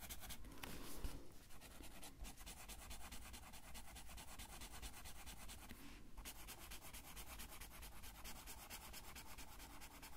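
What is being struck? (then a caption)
Marker on a thin paper sheet. A blue felt-tip marker colors a thin paper coloring sheet that lies on a table, held in place by the left hand. Quiet, steady back-and-forth rubbing strokes scratch across the paper with a soft, papery hiss and a low, dull undertone, continuing throughout.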